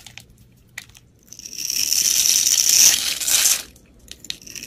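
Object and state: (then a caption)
Cream soap bar being carved. A metal utility blade cuts a grid into a solid cream soap bar held in the hand, then scrapes across it so small cubes crumble off. A few faint, sharp ticks lead into a sustained, bright, gritty scraping and crumbling that swells for about two seconds, then fades back to scattered light clicks.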